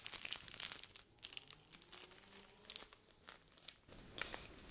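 A clear plastic zip-lock bag filled with white sand is held, squeezed and crinkled with long nails as it is moved toward the camera. It makes quiet, bright crinkling and crackling in rapid irregular bursts, with soft gritty rustling in between.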